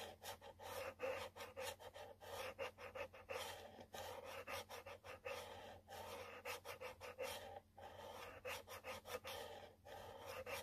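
A long nail scratches a yellow cardboard product box in quick, repeated strokes. Each stroke gives a dry, raspy scrape centred in the mids with some bright hiss. A faint low hum sits steadily underneath.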